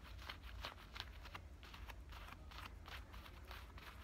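Fingernails scratch along the front pocket opening and stitching of worn black denim high-waist shorts. The result is quick, irregular scratchy strokes with bright, rasping bursts over a steady low rumble.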